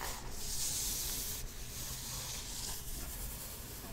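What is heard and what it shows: Long nails rub and scratch rapidly back and forth over the surface of a flat, patterned paper-covered cardboard box. The result is a steady, dry, sanding-like hiss that is bright and airy up high, with a soft low rumble underneath and no distinct separate hits.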